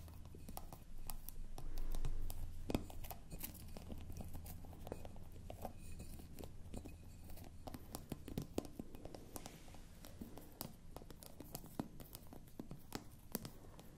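Long manicured nails scratch and tap the ground-glass stopper of a clear frosted glass bottle, which is held in the hand, hollow and apparently empty. Quick, quiet, irregular clicks and dry scratching continue throughout over a soft low rumble that swells briefly near the start.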